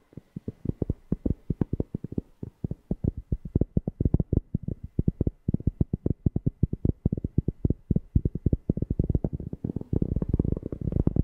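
A cork object is tapped close to a FIFINE K690 microphone, producing a rapid, irregular series of deep, bassy thumps with very short decay, centered around 100 Hz. Near the end the taps crowd together into a thicker, continuous low rumble.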